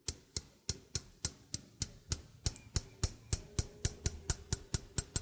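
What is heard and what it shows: A small hollow stainless steel sink strainer is held up while its rim and mesh are tapped with fingertips and nails. About twenty sharp, evenly spaced taps each pair a soft low thump with a bright metallic click that dies away almost at once. A faint tonal hum lingers between some of the taps.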